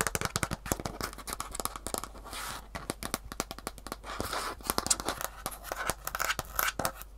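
A single Superfeet shoe insole, with a rigid green plastic heel cup on grey foam, small and solid, is held in one hand while its plastic underside is scratched and tapped with long fingernails. Rapid, dense, sharp clicks with almost no ring mix with bright scratching and brief scraping passes.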